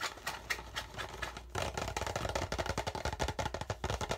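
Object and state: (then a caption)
Plastic water bottle. An empty, hollow, clear PET plastic water bottle is held in both hands while fingertips tap and scratch the label area and the thin plastic walls. Quick, dry, hollow taps and scratchy rustles come fast and uneven, softer at first and then louder and denser after about a second and a half, over a steady low hum.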